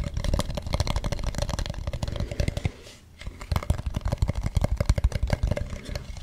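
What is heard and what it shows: Fingertips tap and scratch the smooth dark back and the carved front of a hollow carved wooden mask. A dense run of quick, dull taps with a deep, hollow thump is mixed with light scratching. The taps thin out briefly near the middle, then resume just as steadily.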